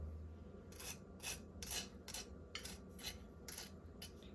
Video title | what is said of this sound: Salmon egg rolls - Egg roll recipe - Salmon recipe -- Seafood egg roll | You can just hear how crispy they are.